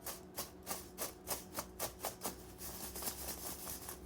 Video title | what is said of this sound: زلابيه مقرمشه وهشه وطعمها يجنن هقولك كل اسرارها علشان تطلع مظبوطه معاكي#مطبخ-جينا#Jenna’s-kitchen | بطلعها على مصفى وتعالوا نسمع صوت القرمشة